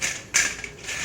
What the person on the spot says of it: Just listen to how crispy these diamond biscuits sound.